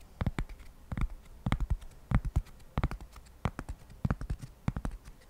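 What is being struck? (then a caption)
Flat cork coaster. A single flat, solid, square cork coaster is held by hand near the microphone and scratched with fingertips and nails in quick strokes. The result is a rapid, irregular run of short, dry, scratchy bursts with a soft, low-heavy body and almost no ring.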